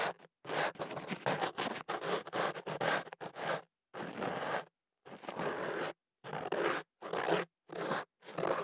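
A thin white ear pick is pushed into the open end of a hollow tube of white kenaf paper, rolled around a small microphone and held in one hand, and scratched against the paper inside. Bursts of dry, papery scraping and rasping rustle come in quick strokes, with short silent pauses between groups.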